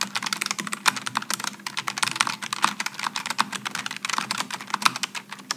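Fingertips type continuously on a Logitech G915 low-profile mechanical keyboard with aluminum and plastic keycaps and rainbow lighting. A rapid, steady stream of light, crisp keystrokes sounds bright and clicky, with very short, dry taps and almost no low end.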